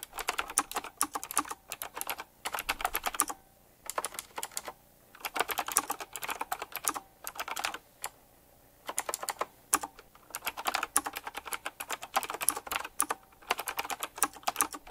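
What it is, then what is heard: Typewriter-style mechanical keyboard. Fingertips type quickly on a retro typewriter-style mechanical keyboard with round plastic keycaps and metal rims. Rapid, sharp, bright clacks come in bursts separated by brief pauses. Each click stops almost instantly, with very little low end.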